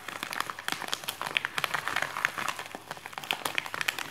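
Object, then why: Paper padded mailer envelope. Fingertips press, rub and scratch the surface of a white printed paper padded mailer envelope lying on a wooden desk. A dense run of dry, bright crinkles and small crackles is heard, with almost no low end. The sound stays steady throughout.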